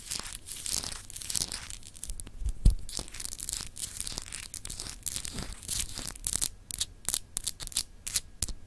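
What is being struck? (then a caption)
Solid glass globe paperweight. Long acrylic nails scratch and tap across a palm-sized solid clear glass globe paperweight with textured continents. The result is a steady run of bright, raspy scratching bursts mixed with quick, dry clicks, with one louder knock near the middle. The closing stretch turns to sharper, more separated taps.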